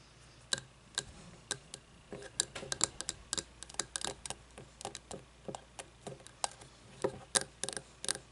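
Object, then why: Frosted glass candle jar. Long nails tap and scratch the outside of a frosted glass candle jar that has no lid and wax partly used. A steady run of sharp, bright clicks and light scrapes comes in irregular clusters over faint background hiss, each tap dying away almost instantly with a brief high glassy tick.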